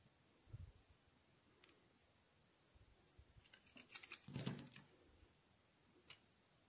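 A solid white bar of soap is held in the hand while a steel utility knife blade scrapes and shaves along its edge. After a soft, low thump near the start, a quiet series of crisp, bright scraping strokes builds to a denser cluster in the middle. A single last shave follows near the end.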